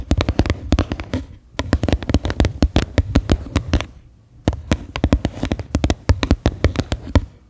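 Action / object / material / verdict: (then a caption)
tap / plastic bowl / plastic / none. Long manicured nails rapidly tap and scratch the flat base of a medium white faceted bowl, likely plastic, turned upside down so it sounds hollow. The taps come in quick, dry bursts, with brief pauses near 1.4 and 4.2 seconds. Each tap is a short, deep, thumping knock that dies away almost instantly, with little high-end ring.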